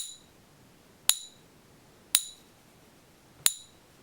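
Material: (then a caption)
Base metal. A fake, non-magnetic one-ounce Silver Eagle coin is pinged three times, giving three short, bright metallic pings with high overtones that die away quickly into quiet background hiss. The ring matched a real coin zero out of three times and was flagged as bad, and the coin was confirmed fake, weighing 24.96 g against the expected 31.1 g.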